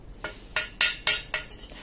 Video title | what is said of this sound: Review Knalpot Terbaik Ninja RR 150, Knalpot Ori Bobokan | lebih oke suaranya nyaring nyaring